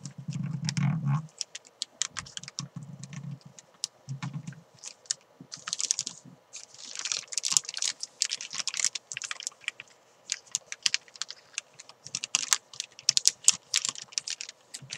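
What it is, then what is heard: Crinkling plastic bag around a chalk ball. Hands with long nails crinkle and pull a thin clear plastic bag wrapped around a white climbing chalk ball. Dense, bright crackles and sharp clicks patter almost continuously, with short low, muffled rubbing bursts in the first few seconds.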